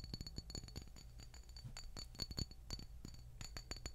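A small dark glass bottle of black castor hair oil with a paper label, apparently full, is held up and tapped rapidly with long nails. The taps make quick, dry glass clinks with bright high overtones over a soft low thud, each fading almost at once.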